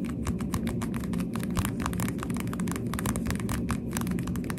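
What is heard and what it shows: Pink plastic sunglasses are held in both hands while fingertips tap on the lenses and frame. Rapid, light, dry clicks patter over a steady low rumble. The taps stay soft and even throughout.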